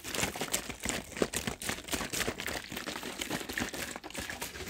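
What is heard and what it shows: A large plastic soft-drink bottle of about two litres, partly full of pale liquid, is held in one hand, squeezed, crinkled and shaken. Dense, bright crackling and crinkling of the plastic runs without a break, with sharp snaps and some liquid sloshing underneath.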